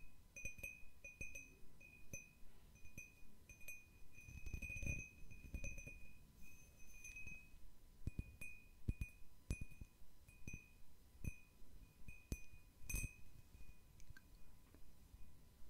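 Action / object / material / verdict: tap / cut crystal glass bowl / crystal glass / none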